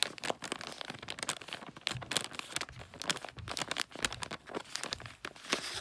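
A gift wrapped in glossy red, plastic-like paper rests on a fluffy rug while a hand rubs the wrapping and fingernails scratch its wrinkled surface. The result is a dense run of bright, crackling crinkles and scratchy rustles with quick, dry bursts and almost no low end.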